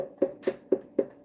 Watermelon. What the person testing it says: It's got a nice hollow sound to it, but it's like knocking on wood